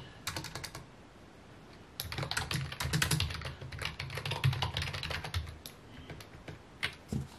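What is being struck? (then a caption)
Plastic computer keyboard. Fingertips type on a full-size white plastic computer keyboard with mint keycaps resting on a wooden desk. A quick burst of clacking key taps is followed by a short pause, then a long run of steady typing with bright clicks over a low, hollow thud. The typing ends in a few scattered, slower taps.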